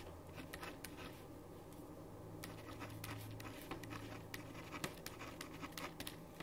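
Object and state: Pen writing on paper.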